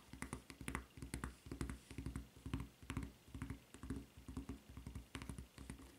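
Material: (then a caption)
Rubber. Long nails tap quickly on the footbed of a white rubber flip-flop with a red strap. The sound is a fast, uneven run of quiet, dry clicks with a soft, dull body and brief bright ticks on top, each dying away almost at once.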